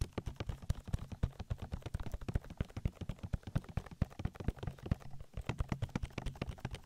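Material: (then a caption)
Silicone. Both hands cup an oily silicone ear of a binaural microphone while fingertips rapidly tap and rub it. The result is a dense, continuous stream of quick, dull, low-heavy thumps with soft rubbing in between, and each tap dies away almost instantly.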